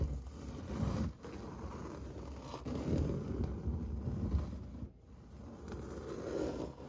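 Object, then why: Painted drywall wall with textured finish. Fingernails tap and scratch across a large, flat interior wall, probably drywall, finished in orange-peel textured white paint. The result is a dense, low, rough scraping with brief dips in loudness near 1 and 5 seconds.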